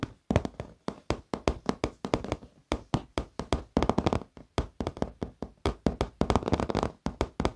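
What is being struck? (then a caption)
Padded leather office chair. Both hands tap rapidly with fingertips and short nails along the top edge of a black padded leather office chair. The result is a quick, irregular run of soft, dull taps with short decays, weighted toward low thuds with little bright content.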